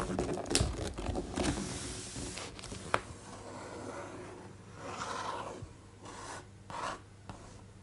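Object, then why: Hardcover book with thick glossy paper pages. Fingertips of both hands rub and scratch across the thick glossy paper pages of an open, large hardcover art book, making a dry, rasping paper friction sound with soft swells. A few sharp taps on the pages break through the steady rubbing.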